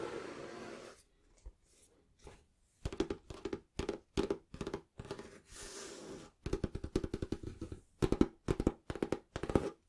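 Fingertips and nails tap quickly and scratch across the cover of a small, solid, closed green cloth-bound hardback book held over a purple cloth. Soft, hissy scratching opens the clip and returns briefly midway, between rapid bursts of dull, muffled, low-mid taps that stop almost instantly with no ring.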